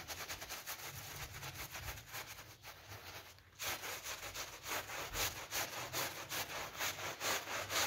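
A small brush held in a green rubber glove scrubs back and forth across a wet, soapy pink PVC loop (vinyl coil) door mat on the floor. The result is a steady, rhythmic series of bright, bristly scrubbing strokes, roughly two per second. They briefly quiet around the middle, then return louder and crisper.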